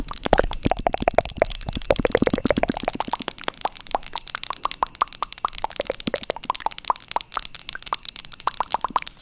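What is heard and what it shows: Long acrylic nails tap quickly on the cover of a small, hand-sized wooden book-shaped box. The result is a dense run of crisp, hollow plopping clicks with a short woody ring whose pitch shifts between taps. The tapping grows sparser and softer partway through.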